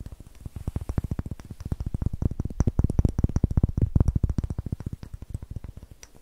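A palm-sized, solid, light wooden cube with a textured greenish face is held in both hands, then tapped and scratched with long nails. The result is a fast, uneven stream of short, dry, low knocks that stop almost instantly, with faint bright clicks and scratching. The tapping swells louder in the middle before easing off.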